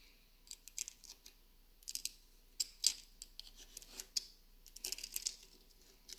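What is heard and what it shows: Long nails scratch across the carved lid of a small hollow wooden box and tap on its sides. The result is a quiet series of short, bright clicks and scratchy rasps, with almost no low end and very little ring after each tap.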